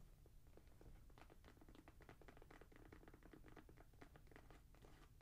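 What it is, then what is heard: Suede and mesh sneaker. A grey Jordan Flight 45 high-top sneaker in suede and mesh, hollow and empty and held in the hands, is tapped and scratched by long nails across the upper and the tongue logo. A steady stream of quick, soft clicks and brushy scratches comes through, each with a short, dull ring over a low, muffled body.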